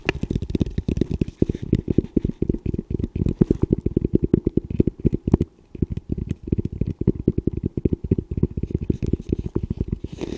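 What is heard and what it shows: Fingertips rapidly tap and scratch the shell of a hollow camo composite tactical helmet with a velcro strip and front mount, held upright. The result is a dense run of short, dull, low-pitched knocks with a brief pause midway.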